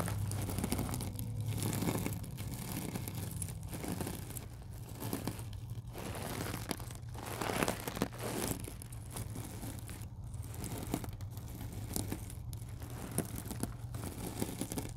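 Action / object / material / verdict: scrape / stainless steel mesh scrubber / stainless steel / none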